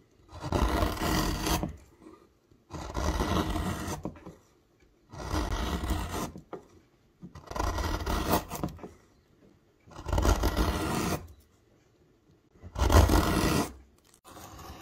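A steel carving knife, pushed by the thumb, scrapes curled shavings from the shallow hollow of a round, reddish hardwood bowl blank. Six long, rough rasping strokes, each about a second long and heavy in the low end, are separated by short silences, and a seventh begins at the very end.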